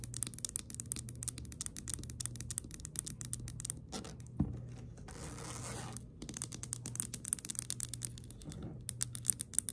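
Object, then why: Glass perfume bottle with liquid. Long nails tap and scratch the body of a round pink glass 'Beautiful Dreams' perfume bottle, partly filled with liquid and topped with a plastic flower cap. Rapid, bright clicking taps run through most of the clip, broken around the middle by a steady, hissing scratch across the glass. A low hum sits underneath throughout.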